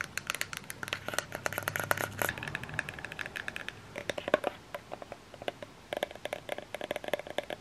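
Long fingernails scratch and tap a small plastic lotion bottle on its body and cap. The result is a quick, irregular run of dry, bright clicks and scratchy rustles, some ringing with a short hollow plastic tone near 600 Hz. A faint low rumble sits underneath in the first half.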